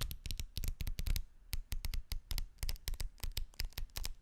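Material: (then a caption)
Paper. A bundle of thin folded white paper sheets is held close to the mic while fingertips quickly flick and rub through the layers. It makes a rapid series of short, crisp rustling strokes, each a brief burst with a low thump and a bright papery edge, fading almost instantly.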